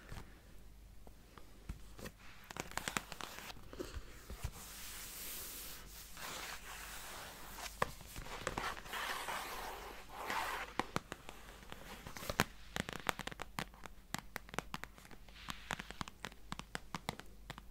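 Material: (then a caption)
Cardboard. Long painted fingernails scratch and tap a medium rectangular cardboard gift box printed with green leaves, held upright and hollow. Dry, bright scratching runs throughout, broken by many sharp, short clicking taps, over a faint steady low hum.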